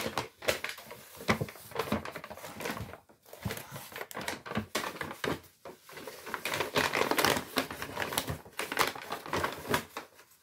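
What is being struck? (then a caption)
Kraft paper shopping bag. A large, empty, hollow brown kraft paper Lidl shopping bag with white stripes is handled and crumpled with the fingers close to the mic. Dense, crisp crinkling and crackling come in quick, uneven bursts, broadband and bright, with short pauses between handfuls.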